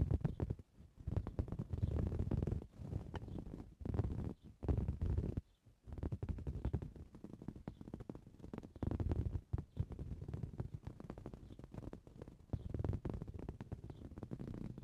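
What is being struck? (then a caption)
Woven fabric cushion. Both hands scratch a soft, filled green coarse-weave fabric cushion with short blue-painted fingernails. The result is dense bursts of rapid, low, rumbling scratching, separated by brief pauses, with almost no bright high end.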